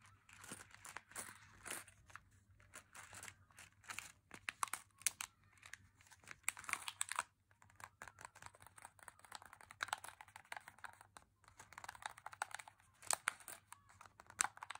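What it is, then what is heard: Plastic candy bag being crinkled. A small M&M's plastic bag filled with chocolate candies is held in the hands, crinkled and scratched with fingernails. The result is a steady run of crisp, bright crinkles and scratchy rustles, with brief pauses near 7.5 and 11 seconds.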